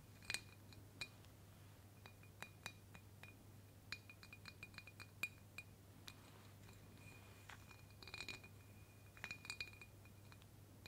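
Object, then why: Glass jar. Long, pointed black fake claw nails tap and click against the side of a clear embossed glass mason jar filled with pink confetti. Sharp, bright clicks with a brief glassy ping come in irregular bursts, with some quick rattling flurries, and each one dies away almost at once. A steady low hum sits underneath throughout.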